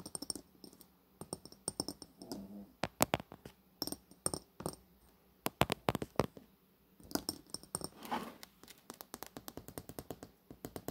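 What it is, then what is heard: Coated glass cosmetic bottle. Fingernails tap along the body of a long bronze-coated glass cosmetic bottle held close up, producing many sharp, bright clicks with a brief glassy ring. The taps come in uneven clusters with short pauses, and softer rustling sounds are heard between some of them.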